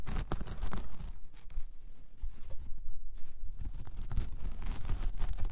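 A large, flat, solid round coaster of braided jute or straw is scratched with long painted nails, first with both hands and then with one. The result is a dense, dry crackling and rasping texture in uneven bursts with bright scratchy edges, a steady low rumble underneath, and a brief quieter lull near the middle.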